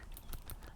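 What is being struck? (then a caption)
Glass ink bottle with small stainless steel balls. A bottle of separated gold drawing ink holding two or three small stainless steel ball bearings, 5–6 mm across, is shaken to mix it. The balls give three quick, bright clicks over a low rumble, agitating the ink like the ball in a spray can so it mixes easily.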